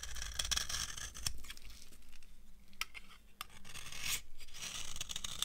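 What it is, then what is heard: Dry soap bar carved with a knife. An opaque beige solid bar of old, dry soap is held in the hand and carved with a metal knife into crunchy curls. Dry, crisp scraping and crackling strokes come in bursts with short, bright transients and a low rumble underneath.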